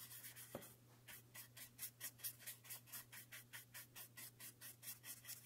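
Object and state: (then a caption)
Cardboard product box. A soft orange makeup brush rubs and brushes across the surface of a small, empty, white thin-cardboard box that is open at one end and held in one hand. It makes a quiet series of bright, airy swishing strokes in a loose, steady rhythm over a faint low hum, with a small tap near the start.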